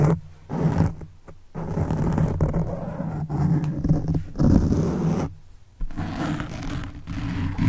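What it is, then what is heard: Foam microphone windscreen being scratched. Fingertips and the thumb of one hand scratch and rub a black foam windscreen on a silver microphone. The result is a dense, muffled, low rumbling scrape, heavy in the bass with a droning tone and almost nothing bright. It breaks off briefly a few times, most clearly near 1 and 5.5 seconds, before resuming.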